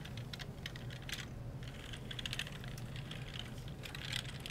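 Gloved fingertips rub a wet wipe over the top rows of keys on a black plastic computer keyboard. The hollow plastic keys give a rapid run of short, bright clicks and rattles over a steady low hum.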